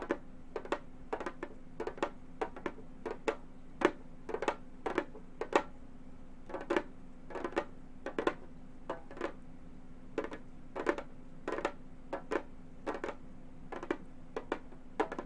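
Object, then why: Frame drum with a synthetic head, tapped with metal finger claws. Long gold metal finger claws tap on a hollow, round Remo frame drum with a synthetic head. Quick clusters of sharp, dry clicks and light knocks ring only briefly, with a hollow tone near 580 Hz. A faint steady low hum runs underneath throughout.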